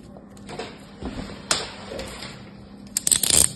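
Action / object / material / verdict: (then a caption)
scrape / kinetic sand packed in a plastic mold, cut with a metal blade / kinetic sand / none. A metal craft knife is drawn across solid packed kinetic sand in a handheld yellow plastic bear-shaped mold, scraping and cutting slices. Soft, gritty scrapes and crunches come every half second or so, with a sharper crunch near the middle, then a cluster of brighter, crackly scraping cuts at the end over a faint steady low hum.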